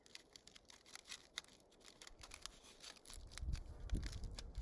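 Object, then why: Crumpled aluminium foil wad. A small crumpled aluminium foil wad is held between fingertips and thumbs and squeezed and crinkled by hand. It gives quiet, bright, irregular crackles and sharp ticks. Over the last second and a half, a low, muffled rumble of handling builds underneath and the crinkling grows louder.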